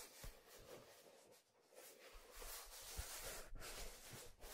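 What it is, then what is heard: Leather fedora hat rubbed. A hollow, empty black leather fedora is turned over and then held upright while a hand grips and rubs its brim, and fingertips touch its stitched crown. Soft, close scratchy rubbing and brushing sounds rise and fade with low thumps from handling. The texture is bright and hissy throughout, with no distinct separate taps.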